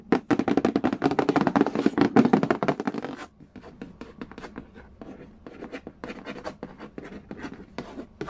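Fingertips and nails trace and scratch across the glossy printed lid of a large, hollow cardboard Game of Life board game box resting on a wooden floor. The first three seconds are a dense flurry of loud, quick scratching and tapping. It then drops to quieter, sparser dry taps and scrapes with a hollow, papery tone.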